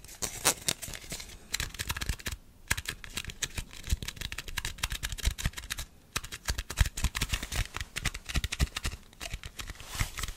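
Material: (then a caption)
Plastic. A round white plastic screw lid from a jar is held between both hands while fingertips and nails rapidly tap and grip its top and rim. The result is a dense, fast stream of short, dry clicks and scratchy rubbing, with brief pauses at about 2.5 and 6 seconds.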